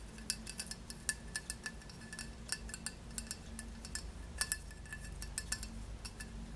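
Long nails tap the glossy glaze of a solid square glazed ceramic tile, producing an irregular run of quick, bright clinks. Each clink rings around 1.7 kHz and dies away almost at once, over a steady low hum.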